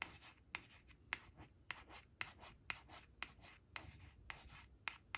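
Long acrylic nail tips trace and scratch over the sunflowers on a thin, flat laminated cardstock flash card resting on a woven cloth. Soft, bright scraping strokes are broken by about 11 short, sharp tapping clicks spaced roughly half a second apart.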